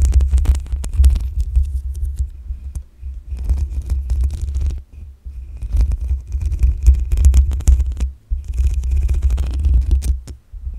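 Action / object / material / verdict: scrape / metal mesh microphone grille / metal mesh / none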